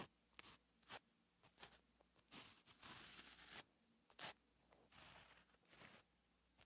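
A gel pen writes Korean text on a flat, lined paper notebook page, the pen tip scratching across the paper. About a dozen quiet, bright, irregular strokes and longer scrapes follow one another, each with a short, dry hiss and very little low end.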